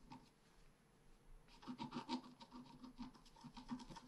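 A wooden stylus scratches a blossom branch into the top of a flat, black-coated scratch-art paper card, held flat by the other hand. Soft, dry rubbing and scraping strokes begin faintly, then turn denser and louder after about a second and a half. A quick run of short, raspy scratches follows, with a low papery body around 250 Hz.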